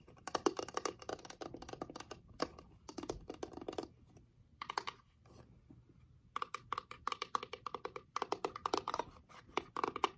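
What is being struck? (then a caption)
Small wooden box with a glass lid. A small reddish wooden box with a heart-shaped glass window showing a painted rose is held in both hands while long acrylic nails tap on its lid and its flat wooden base. Quick bursts of short, dry, clicky taps come in dense runs, with a quieter stretch in the middle before the tapping picks up again.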